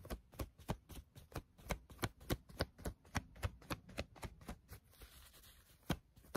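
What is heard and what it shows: Fingertips stretch and pluck the elastic band inside a small, soft, pink patterned fabric scrunchie held in both hands close by, and rub its fabric. About 17 short, dry, low-heavy snaps come at an uneven pace of roughly three to four per second. Near the end they pause for a stretch of quieter, brighter fabric rubbing before two final plucks.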